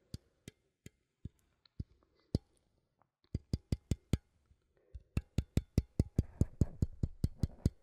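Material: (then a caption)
Thin metal. A small cylindrical metal coffee tin with a printed label, held in one hand, is tapped on its side with fingernails. About 25 short, dry taps, each with a low, hollow thud and a bright click, start sparse and irregular, then come faster and louder. A soft rustling noise runs underneath the final taps.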